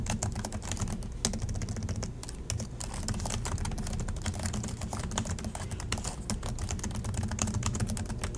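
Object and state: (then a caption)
Plastic laptop keyboard being typed on. Both hands type steadily with their fingertips on the black plastic chiclet keys of a silver Acer laptop resting on a desk. The result is a continuous, fast stream of short, crisp key clicks: each press has a dull low thump and a bright tick on top, and dies away almost at once. The typing stays at an even level for the whole clip.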